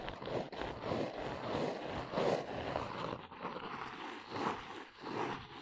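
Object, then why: Cardboard box. Long nails tap and trace across the printed top of a small brown cardboard box resting on a fluffy surface. Soft, papery scratching mixes with dull, muffled taps in an uneven rhythm, centered in the midrange with little deep or bright content. The sound stays quiet and close, swelling and fading without clear breaks.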